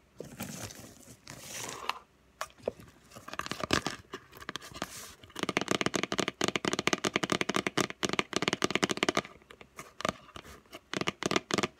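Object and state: Cardboard gift box.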